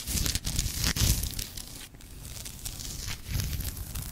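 Long nails tap and scratch the leather cover and ornate gilt spine of a thick antique leather-bound book that is held closed and tilted. Soft low thumps from the taps mix with a dry, bright, crinkly rasp from the scratching, which swells and fades in uneven strokes.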